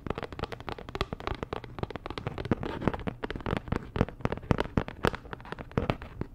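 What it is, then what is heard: Printed cardboard packaging card. Fingertips and long nails rub and scratch a flat, postcard-sized printed cardboard Dior packaging card. A dense, steady stream of sharp, dry scratches and crackly clicks comes in quick succession over a soft low rumble, with a few louder snaps standing out.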